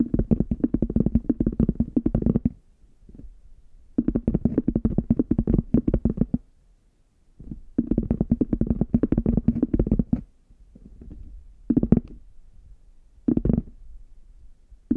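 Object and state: Faux leather hard shell case, hollow.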